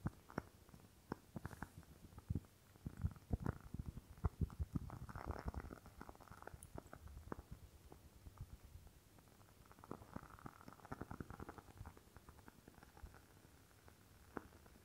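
A rectangular glass candle jar filled with red wax is held up and tapped and scratched with fingernails. The result is a quiet, dense run of short, dull taps and soft scratchy bursts, mostly low in tone, with no ringing after each hit.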